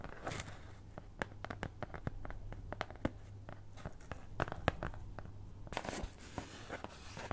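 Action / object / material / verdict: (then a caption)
scrape / thin cardboard cutout / cardboard / none. A flat brown kraft cardboard cutout (possibly thin fibreboard) shaped like a cat's head is held in one hand and scratched with the long nails of the other hand. Quick, dry scratches and sharp ticks come in uneven bursts, with brief brighter rasping stretches. A steady low hum sits underneath.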